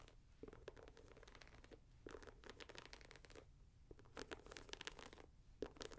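Long nails scratch and fiddle with the upper and laces of a red, grey and white Nike Air Max 90 leather and mesh sneaker, hollow and empty and held up in the hand. The result is quiet, dry scratching and rustling in short bursts and rapid clusters, with a bright hiss and a faint hollow tone around 400 Hz.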